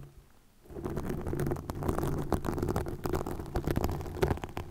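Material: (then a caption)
Plastic. Long nails scratch a green plastic mesh net stretched over a microphone. After a brief quiet start, a dense, close-up crackling and rasping begins and continues with a heavy low rumble and quick scattered clicks.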